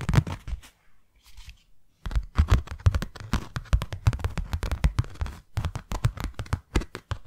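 A small white hollow cardboard box is tapped on several of its faces with long nails. Rapid, dull, low thuds with a scratchy edge come in quick bursts, with a brief quieter patch of softer scraping early on. Each tap dies away almost at once, with no ring.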